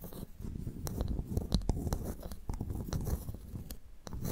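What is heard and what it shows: A pearl clam's shell is tapped and scratched before the clam is opened for pearl extraction. Quick, dull clicks and scratchy rasps run close together over a soft, low rumble, each tap dying away almost at once.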